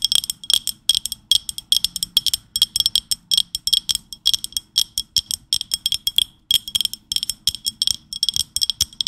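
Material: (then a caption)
Ceramic. A large pink stoneware dinner plate, held upright, is tapped and scratched with long nails, giving dense clusters of quick, bright clicks. Each tap rings with a high, chime-like tone near 3.3 kHz that dies away almost at once. The clicks come in steady bursts with short pauses, and no low sound is heard.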